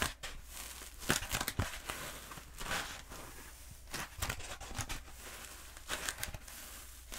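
Long nails tap and scratch a long, black, hollow foam pool noodle held diagonally and then upright. Dry, crinkly scratching bursts with bright hiss rise and fall over a faint low hum. Sharper taps cluster in short flurries between quieter rubbing.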